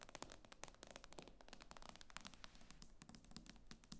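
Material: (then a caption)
Glass. Long painted fingernails tap rapidly across the black glass screen of an iPad with an aluminium frame, lying flat and solid on a table. The result is a quiet, continuous run of sharp, bright clicks with a soft low hum beneath, each tap dying away almost instantly.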